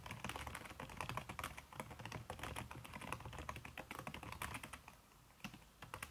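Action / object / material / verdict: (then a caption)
tap / plastic laptop keys under a silicone skin / silicone, plastic / none. Fast typing with fingertips and long red-painted nails on a backlit aluminium laptop keyboard whose plastic keys are covered by a red silicone skin. Dense, rapid clicky taps run continuously, with soft low thuds under bright key clicks. The pace eases briefly near the end before a few final taps.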